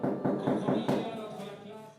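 A sourdough bread loaf just out of a wood-fired oven at a farm bakery is tapped, giving a series of small, soft, hollow thuds with a low-mid tone and short ring. The hollow sound shows the loaf is baked through and ready.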